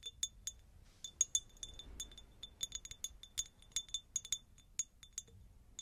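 A textured, pineapple-shaped glass jar is tapped repeatedly, giving about 22 quick, bright glass clinks at an uneven rhythm. Each clink is very short, with almost no ring, and is high-pitched with tones near 3.5 kHz. The clinks sit over a quiet, faint background.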